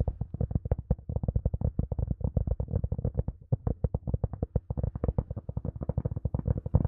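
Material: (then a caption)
Plastic. Long nails rapidly tap and scratch the shell of a small, hollow, rounded black hard-shell plastic earphone case held close to the mic. The result is a dense run of dozens of short, dry, low, boomy thuds with scratchy upper edges and almost no ring.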